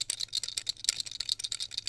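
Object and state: Rattling loose plastic buckle.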